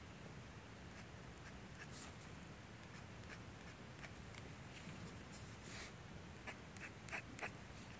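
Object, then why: Paper manuscript sheet drawn on with a metal dip-pen nib. A metal G-pen nib in a blue holder scratches across a flat, thin sheet of manga manuscript paper while drawing hair lines. Short, scratchy nib strokes come at an uneven pace with faint, bright rasps over a low background hum.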